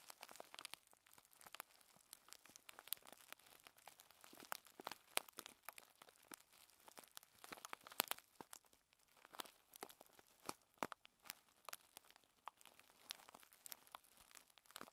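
A shiny clear foil-plastic bag full of loose tea leaves, with a round sticker, is held on a table and squeezed and crinkled by fingers with long red nails. Dense, bright crackles and crisp crunches come in quick clusters, with almost no low end. The rustling runs on steadily with tiny pauses in between.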